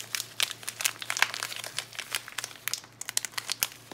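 Fingers with long nails crinkle and tear open the yellow Palmolive plastic foil wrapper of a bar of soap. Rapid, bright crinkling crackles dominate throughout, with short sharp snaps and a faint low hum underneath.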